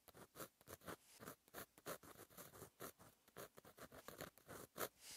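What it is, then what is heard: Pen writing on a paper notebook page. A fine metal gel pen tip scratches across a flat, black lined notebook page in continuous handwriting strokes. The sound is a quiet, dry scratching made of many short, separate strokes, each a brief burst of broadband rasp with bright, high edges. Short pauses fall between the strokes.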